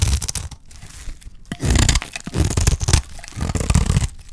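A solid, dry green soap bar held in the hand is shaved into curls with a utility knife blade. Repeated crunchy, tearing scrapes come in bursts, with a low, heavy body and bright crackle on top.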